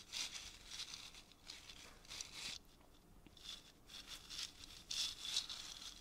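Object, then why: Dried gourd maraca with beaded net. Long fingernails tap and scratch a painted, hollow, dried gourd maraca wrapped in a beaded string net and filled with seeds. The result is a quiet series of bright, dry, crinkly bursts, almost entirely high in pitch, with little low end and almost no ring after each touch.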